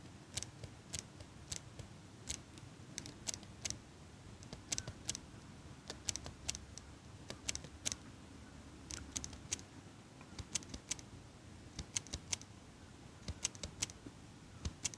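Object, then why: Metal eyelash curler. A small hand-held metal eyelash curler with a pink pad is held close to the mic and repeatedly squeezed and clicked by fingers with long pink nails. It makes a steady, irregular series of sharp, bright metallic clicks that stop almost instantly, over a soft low background hiss.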